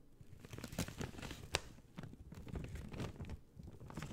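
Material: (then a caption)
Paper. An empty, thin white-grey paper bag, hollow and folded, is held in both hands and crumpled, folded and squeezed with fingertips and long dark-teal painted nails. It gives soft, steady crinkling and rustling with low papery rumbles and a few brighter, sharper crackles. The sound stays quiet and close throughout.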